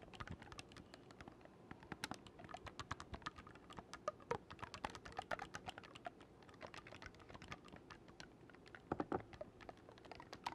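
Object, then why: Wooden oboe with metal keys. Fingertips quickly press and release the silver metal keys of a black wooden oboe held vertically, producing a steady stream of soft, short clicks. The quiet tapping carries a few brighter clacks and occasional small bursts throughout.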